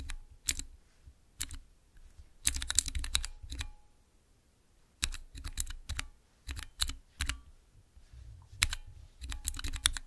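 Fingertips type on a small, clear plastic 9-key mechanical keypad with Cherry MX switches. Bright, sharp clacks come in quick clusters separated by short pauses, each with a soft low thump beneath. The sound stops almost instantly after each press.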